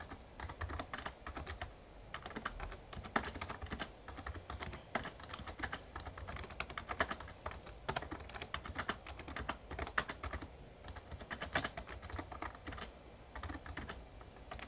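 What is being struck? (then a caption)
Plastic membrane keyboard. Fingertips type continuously on a full-size backlit Razer Ornata Chroma plastic membrane gaming keyboard with plastic keys and a hollow case. The result is a steady stream of quick, dry clicks and soft clacks with very little ring, each keystroke carrying a bright midrange snap over a faint low rumble.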